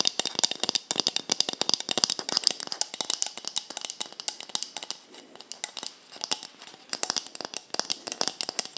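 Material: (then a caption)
Plastic. A hollow white plastic cosmetic bottle with a black cap, held in both hands, is tapped and scratched with long nails around the cap and body. The result is a fast, steady run of sharp, bright clicks and light scratches that stop almost instantly, with little low end.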